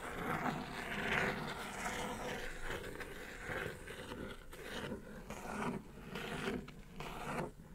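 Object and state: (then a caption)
Cardboard mailer box scratched with fingernails. Long nail tips scratch and tap the printed top of a hollow brown kraft cardboard mailer box. The result is a steady, dry rasping scrape with a bright papery edge, broken by soft, hollow taps that fade slightly toward the end.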